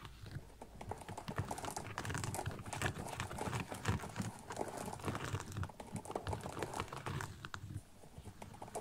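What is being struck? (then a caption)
Small synthetic leather ankle boot with sequin panel. Fingernails scratch and tap the sequin panel and leatherette of a small synthetic leather kids' ankle boot with a zipper, held still. The result is a dense, continuous stream of quick, dry clicks and scrapes over a soft low rumble, with short bursts that die away almost at once.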